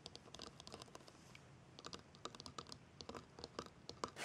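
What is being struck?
Plastic bottle with label.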